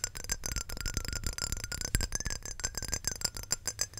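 Long nails tap rapidly on a small square glass perfume bottle with a glass cap, filled with amber perfume and held close to the mic. The result is a dense stream of quick, bright clicks with a high glassy shimmer and a soft low thump, each tap dying away almost instantly.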